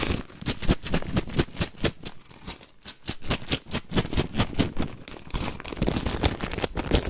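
A clear plastic bag with a price tag, full of white plastic faux pearl beads, is held up and squeezed and rubbed with the fingers. The beads clack together in a rapid, uneven series of sharp clicks over the crinkle of the bag, with a brief quieter stretch partway through.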